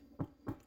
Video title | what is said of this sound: Authentic Traditional Artisan Sourdough Walnut Bread / Authentique Pain aux noix au levain | We will check if it's well baked. It sounds hollow, yes.